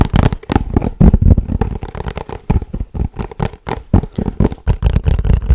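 A small white and blue paperboard box, rectangular and hollow, is held in both hands and tapped and scratched quickly with fingertips and short nails across its top and sides. The result is a fast, irregular stream of dull, low, hollow thumps with short scratchy bursts between them, each hit dying away almost instantly.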